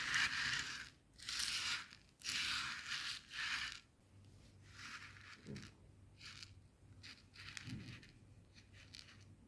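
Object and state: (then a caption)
Coarse bath salt crystals rubbed on a plastic board. Coarse bath salt grains on a white plastic cutting board are rubbed and pressed under a flat hand, making loud, bright, gritty scraping sweeps in the first few seconds. The grains are then gathered with the fingertips and nails, giving quieter, shorter scratchy and crackly strokes.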